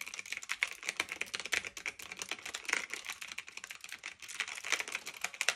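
Both hands type continuously with their fingertips on a black retro typewriter-style mechanical keyboard of plastic and metal, with round keycaps, resting on a fluffy blanket. Quick, bright clicky keystrokes come in a steady, uneven stream, each one short and crisp with almost no low end.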